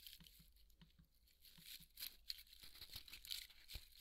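Fingernails scratch and crumble the foam along the cut seam of a large white polystyrene foam ball held in both hands. Quiet, bright crackling and crinkling, with sharp scratchy bursts and small squeaky crunches, some with a soft low thump.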